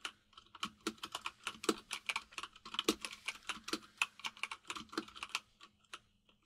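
A white full-size mechanical keyboard with plastic keycaps, resting on a desk, is typed on rapidly with the fingertips of both hands. Quick, bright clicky taps come in an uneven stream of about 29 distinct keystrokes. A few land harder with a deeper thock, and each one stops almost at once.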